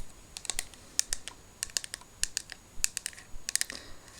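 An empty hair mask container is tapped rapidly in quick, irregular bursts over about four seconds. The taps are short, bright clicks with almost no ring, set against a quiet background.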